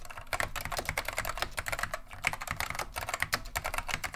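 Continuous fingertip typing with both hands on a beige plastic vintage Wang 725 mechanical keyboard fitted with Alps SKCM Neon Green/Lime switches. Rapid, crisp clicky keystrokes with a bright, clattering character overlap in a steady stream, each dying away almost instantly.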